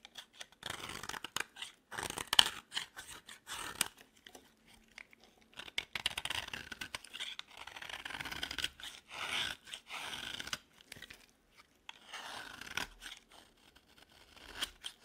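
A metal blade scrapes and carves an orange, dry, solid bar of soap held in the hand. It makes a run of short, crisp, crunchy scraping strokes with a bright, high hiss and almost no low end. The strokes come in quiet bursts separated by brief pauses.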